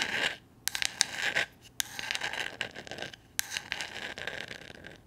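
Long nails scratch and scrape across a small, solid, flat painted wooden gnome figure. Bright, dry bursts of scratching come in uneven strokes with sharp clicks and brief quiet gaps, and almost no low end.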